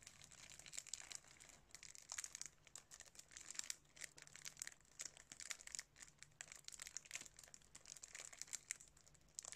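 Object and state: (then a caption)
Cellophane-wrapped DVD case crinkled. A plastic DVD case still sealed in thin clear cellophane wrap is held in both hands while fingertips and nails squeeze and rub the wrap. The result is a steady stream of quiet, bright crinkling and crackling with dense, rapid snaps.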